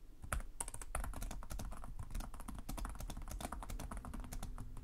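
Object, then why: Plastic laptop keyboard. Fingertips with short nails type continuously on the plastic chiclet keyboard of a black laptop resting on a desk. The result is a fast, steady stream of rapid key taps: short, dry clicks with a soft, low thud under each press and a bright tick on top, each decaying almost instantly.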